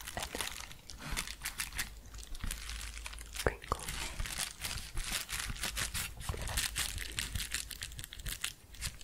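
An empty, large yellow paper padded bubble mailer is held upright and tapped and scratched along its surface and edge with long painted fingernails, with possible soft whispering. Dense, rapid, bright crinkly taps and scratches crackle continuously over a steady low hum.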